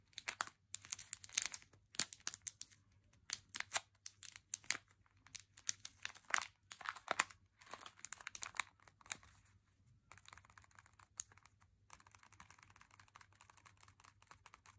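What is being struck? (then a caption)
Plastic candy pouch. A full plastic M&M's candy pouch is squeezed in the hand and crinkled by the fingers, giving quick, bright crackles and crinkling bursts with almost no low end. For the first ten seconds the crinkles come in louder clusters, then they thin into a softer, steady fine crackle over a faint low hum.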